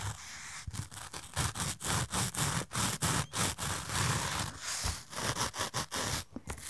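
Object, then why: Padded fabric pouch with metal zipper. Fingernails scratch along the metal zipper teeth of a hollow, rainbow-shaped padded fabric fanny pack, then tap and rub its padded surface. The result is a run of short, bright, rasping scrapes and soft thuds with a low body, coming in uneven bursts with brief gaps between them.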